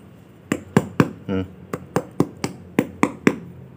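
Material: Fruit rind.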